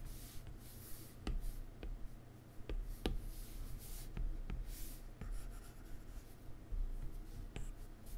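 A plastic stylus tip rubs short, repeated strokes across a solid iPad glass touchscreen while fingers brush the surface. Quiet, scratchy rubbing is heard with small, sharp ticks over a steady low background hum.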